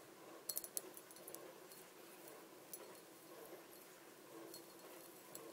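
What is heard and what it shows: Long dark nails tap around the body of a small, empty, clear glass bottle resting on a table. The quiet taps are bright, short clicks with almost no ring: a quick cluster near the start, then sparser taps over a soft, steady hiss.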